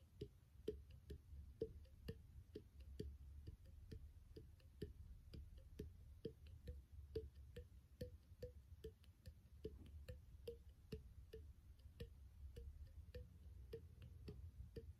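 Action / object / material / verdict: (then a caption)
tap / small glass bottle / glass / none. A small, empty, clear glass bottle with an open threaded neck is held in the hand and tapped with the fingertips, giving a steady run of quick, hollow ticks. Each tap has a soft pitched ping near 430 Hz that dies away almost at once, over a constant low rumble.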